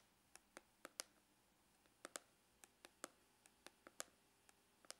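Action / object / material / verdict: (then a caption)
tap / faux leather hard-shell glasses case / faux leather / none. Glitter-polished fingernails tap and click on the lid of a dark brown, textured faux-leather hard glasses case with a hollow shell and a red rose emblem. About fifteen sharp, bright clicks sound over five seconds at an uneven pace, each dying away almost at once with no low body.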